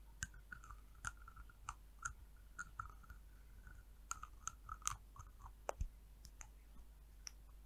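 Long nails tap and click on the orange cap and neck of a small amber glass hair oil vial held in one hand. The result is a quiet, scattered series of short, bright clicks with faint scratchy rustles between them, the sharper taps ringing high.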